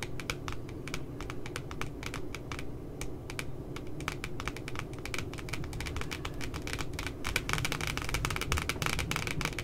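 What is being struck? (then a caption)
Laminated cardboard notebook cover tapped with long nails. Long glitter nails tap rapidly on the glossy laminated cardboard cover of a cute puppy notebook, making a fast, uneven stream of short, dry, bright clicks with a ringing tone near 2.3 kHz. The taps die out almost instantly and grow slightly busier and louder toward the end, over a steady low rumble.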